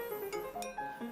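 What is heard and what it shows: A freshly fired ceramic dish, just out of the kiln at the end of a production line, is struck repeatedly to check it for cracks. Each tap gives a clear, bell-like ring around 420 Hz with bright overtones that sustains between strikes. The dish rings cleanly and sounds sound.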